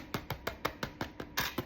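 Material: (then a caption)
Bread. A Portuguese bread loaf just out of the oven is tapped nine times on its underside, giving short, dry, hollow thumps that die away almost at once. The hollow sound shows the loaf is baked through.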